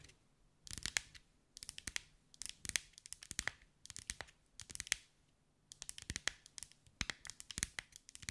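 Long white acrylic nails tap and scratch rapidly over a hand-sized sphere covered in small green mirrored glass mosaic tiles, held in the hands. The result is bursts of crisp, bright clicking and scratching with almost no ring, separated by brief quiet pauses and then running more continuously toward the end.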